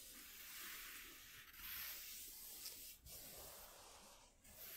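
Short fingernails on both hands scratch across a flat white corrugated cardboard sheet lying on a dark cloth. The result is a steady, dry, hissy scraping sound concentrated in the high frequencies, with brief pauses between strokes.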